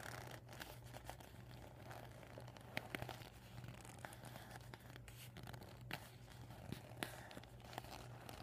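Fingers with painted nails squeeze and crinkle a deflated vinyl beach ball with blue, white and red panels, bunched up on a table. Quiet, continuous scratchy plastic crinkling and rustling is punctuated by sharp, bright snaps and clicks. A steady low hum runs underneath.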